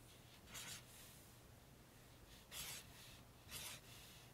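A pink highlighter tip is dragged along lines of text on the glossy printed pages of an open paperback book lying flat. Three soft, bright rubbing and scratching strokes rise above a quiet, steady low hum.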